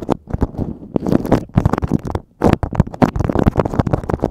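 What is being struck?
Beeswax-coated cotton food wrap.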